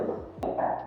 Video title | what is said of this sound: Xevera Bacolor Pampanga - Townhouse Premium - Two-storey unit with 2 Bedrooms and carport | Dun sa tunog niya, after kung katukin, ano ho siya? Solid wood na stair threads.